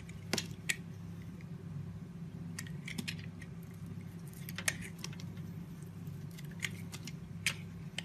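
A metal blade carves curled slices off a hand-sized solid white soap bar with a blue flowered outer layer, held by fingers with long white nails. Sharp, crisp scraping clicks and bright snaps come through in scattered bursts over a steady low hum.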